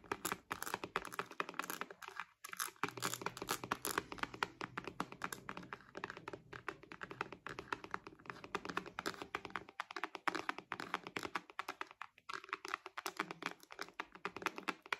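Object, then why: Patent synthetic-leather wallet. A purple glossy croc-embossed synthetic leather wallet with a metal logo and bow trim is tapped rapidly by long nails across its patent faux-leather surface. The result is a dense, steady stream of sharp, dry clicks and taps with bright highs and almost no ring, with occasional brief soft rubbing sounds between them.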